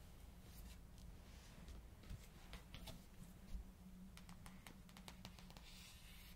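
Long pink acrylic nails tap and scratch the glossy card front cover of a thick Harry Potter and the Order of the Phoenix paperback, which is then lifted to show the back cover. Short, crisp, bright clicks and light scratches sit over a steady low hum. The sound stays quiet throughout, with quick taps that die away almost at once.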